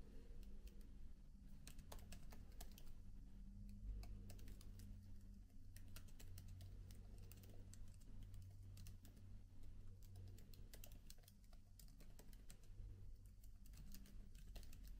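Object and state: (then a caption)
Laptop keyboard typing. Both hands type with their fingertips on the plastic keys of a MacBook laptop keyboard with an aluminium body. Quiet, rapid, bright key clicks continue throughout over a steady low hum around 62 Hz.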